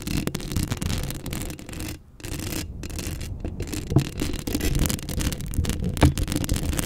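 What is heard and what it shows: Long acrylic nails scratch the hollow steel mesh grille of a Blue Yeti microphone held up close, producing a steady, dense rasping scrape with a heavy low rumble under a faint bright fizz. The scratching briefly drops almost to silence around two seconds, then resumes with sharper, louder scrapes near four and six seconds.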